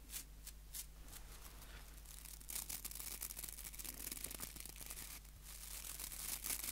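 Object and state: Wooden nail brush with plastic bristles.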